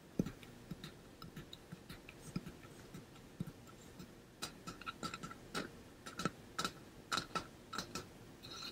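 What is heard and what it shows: Fingernails tap a hollow pink-and-blue ombre painted metal water bottle, possibly holding some water, held close to the ear. About two dozen quiet, crisp ticks sound at an uneven pace, each with a brief metallic ping and a little low body, dying away almost at once.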